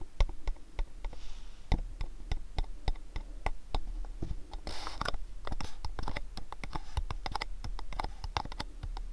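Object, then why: Cardboard box. A long, hollow mint-green cardboard gift box printed with a shop illustration is tapped and scratched with fingertips and nails. A steady run of quick, dry taps with a low, hollow thump dies away almost instantly, broken by brief scratchy rasps, most noticeably around the middle of the clip.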